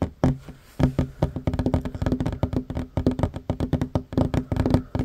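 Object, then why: Wooden tabletop tapped with fingertips and nails. Hands with short fingernails fast-tap a flat, solid wooden tabletop. The dry, low knocks come in a rapid, uneven drumming pattern with almost no ring after each hit.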